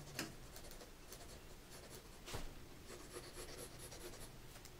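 A mechanical pencil held in a gloved hand scratches out lines near the top edge of white drawing paper in a spiral-bound sketchbook resting on a dark table. The quiet, dry scratching comes in short strokes with a few brighter, sharper scrapes. A low background rumble sits underneath.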